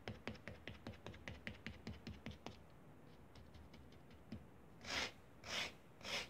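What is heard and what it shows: The edge of a blue plastic spatula scrapes and rubs across a flattened layer of pink kinetic sand on a foil paper plate, drawing parallel grooves. A quick, steady run of short, crisp scratchy strokes fades into faint ticks. It ends with three longer, breathy, bright sweeping scrapes.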